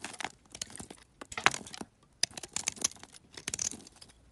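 A metal utility knife scrapes and carves crumbly shavings off a hand-sized, greenish-beige solid bar of soap held in a hand with painted nails. Dry, bright crunching and scratchy scraping comes in irregular bursts separated by brief pauses, with almost no low end.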